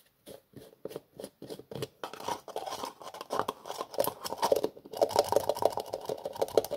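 Fingers tap and twist the black plastic screw lid of a small cream-colored plastic jar. About eight separate, dry, hollow taps come first, then a denser run of scratchy, crunchy clicking and scraping as the lid is worked, with bright edges over a midrange body.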